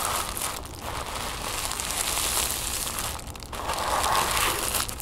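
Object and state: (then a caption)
Crumpled tissue paper. Crumpled orange-copper tissue paper on a wooden table is crinkled and pressed flat by fingertips and long nails. It makes a steady, bright, crackly crinkling and rustling, with brief quieter dips near 0.7 and 3.4 seconds before the crinkling swells again.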